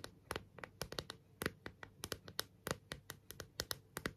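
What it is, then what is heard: Clear plastic phone case tapped with nails. Long nails tap and scratch the back of a thin, hollow, transparent plastic phone case with a rhinestone border, held in the hands. About 23 quick, dry clicks with no ring are heard at an irregular, unhurried pace. They have a bright, crisp edge over soft scratching between the taps.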